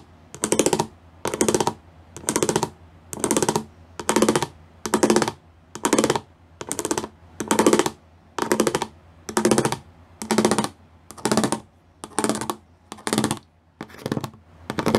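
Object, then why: Plastic studded sheet. Fingers and nails tap across the studs of a gray plastic studded sheet. Short bursts of quick, dry, bright clicking come about once a second, each with a low-mid body and a fast fade between bursts.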